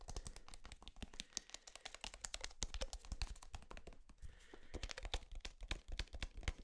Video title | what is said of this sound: ASMR Tapping On EVERYTHING | this thick plastic it's kind of unique